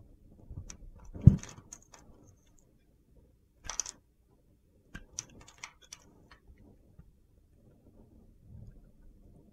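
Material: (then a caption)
Soap. A solid mint-green bar of soap is held in the hand while chunks are sliced off it with a metal box-cutter blade. The cuts come as short, quiet crunchy scrapes with a few bright clicks, in scattered bursts separated by near silence, the loudest of them near the start.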